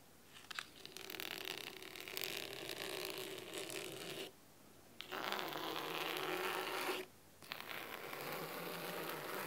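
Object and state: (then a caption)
Cloth-covered hardcover book. Fingernails scratch a thick navy fabric-covered hardcover book resting on a wooden table, first along its sides and then across the top of the cloth cover. The result is a dry, crisp, bright scratching texture in three sustained stretches separated by short silent pauses, with a faint low tonal hum beneath it.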